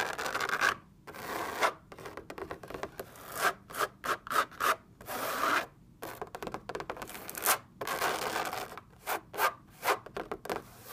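Long painted nails scratch and tap the taut surface of a lit white fabric lampshade shaped like a hollow drum. Bursts of dry, brushy scratching and quick rubbing strokes alternate with short pauses, the sound mostly in the mid and upper range with almost no low end and no ring after each stroke.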